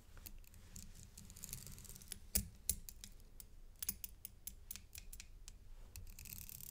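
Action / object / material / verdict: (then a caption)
tap / metal link chain necklace with pendant / metal / none. A thin stick taps and scrapes along the links of a gold metal paperclip chain necklace with a coin pendant. Quiet, bright metallic ticks and clicks come in quick succession over a low, steady rumble, with a few sharper, louder clicks standing out partway through. Each tick dies away almost instantly.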